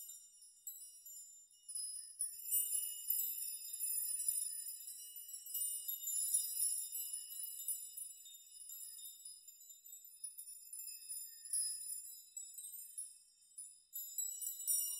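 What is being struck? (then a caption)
Hanging steel nails. A steel nail chime made of many long hanging steel nails is grasped by hand, and clusters of nails are swayed, rocked and shaken so they clink together. The result is a continuous shimmer of bright, high metallic clinks and short ringing tones with no low end, swelling and fading as the nails are moved.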